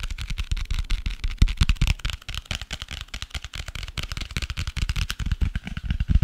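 Fingertips tap and scratch the cardboard cover of a dark grey hardcover notebook, mixed with quick swiping taps. The result is a fast, dense run of short, dull, low thuds, overlaid with a faint bright scratchy rustle.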